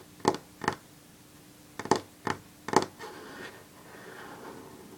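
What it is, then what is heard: Fingernails tapping a wooden table. Long natural fingernails of one hand drum on a solid varnished wooden tabletop, giving five short, sharp clicking taps with almost no ring. A softer, steady rasping sound follows for the last two seconds.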